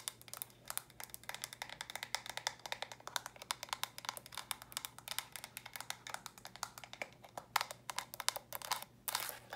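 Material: Plastic.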